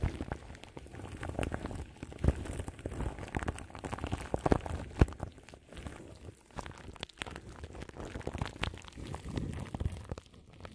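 Long nails scratch a large microphone whose grille is wrapped in crinkly plastic film. The result is a steady, dense crackle of rustling and crunching that stays heavy in the low end with little high brightness, swelling and dipping throughout with a few sharper pops.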